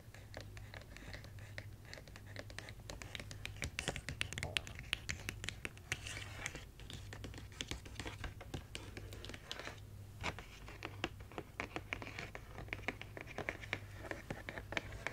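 Long nails scratch and tap across the face and edges of a printed cardboard advent calendar. The result is a dense stream of dry, crisp clicks and scrapes with almost no ring, over a low steady hum.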